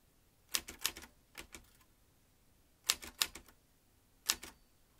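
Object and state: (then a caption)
Manual typewriter typing. Fingertips type on the round keys of a vintage metal manual typewriter with fanned typebars, a red-black ribbon spool and paper loaded in its hollow mechanism. About a dozen sharp, bright, dry clacks land in three bursts, with quick pauses in between.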